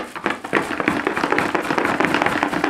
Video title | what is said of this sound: Canon EOS M6 Grey Market Vlogging Camera | when you pick up the box and you shake it you can hear it's not very very tightly sealed